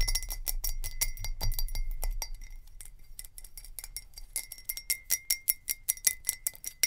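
Long nails tap fast on a glass jar with a lid, making quick, bright clinking taps with a faint steady ring. The tapping is dense and even at first, then grows louder and more clearly spaced toward the end, over a low background rumble that fades after the opening seconds.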